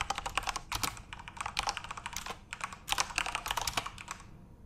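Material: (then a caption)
Plastic. Both hands type rapidly with their fingertips on a full-size Corsair RGB-backlit mechanical keyboard with plastic keycaps. The result is a dense run of sharp, bright, clacky key clicks that stop almost instantly, grouped into quick bursts with brief pauses between them.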